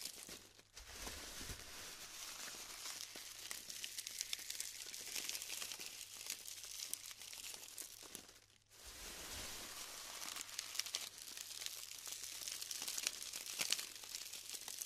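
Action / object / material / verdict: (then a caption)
scrape / glued styrofoam bead clusters / styrofoam / none. Hands press and crumble clumps of glued styrofoam balls in a tray, producing a dense, steady stream of bright crinkling, crackling and snapping. The sound is almost entirely high-pitched, with little low end, and briefly drops away just before the nine-second mark before the crumbling resumes.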